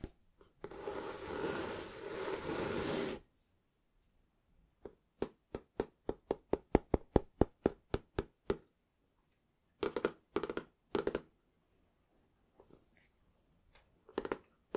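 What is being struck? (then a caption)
Cloth-covered hardback book. Fingertips rub across the cover of a small, closed, green cloth-covered hardback book, making a soft, broadband brushing sound for about three seconds. A quick run of light, dry taps on the cover follows. Then come three fuller, duller taps and a final pair of soft knocks, all with almost no ring.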